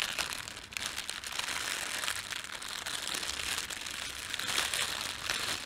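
Fingertips crumple the thin film of a red printed plastic bread bag and then pull it taut, producing a steady, dense crinkling. The sound is bright and crackly, with nearly all its energy in the high range and almost no low end, keeping an even level throughout.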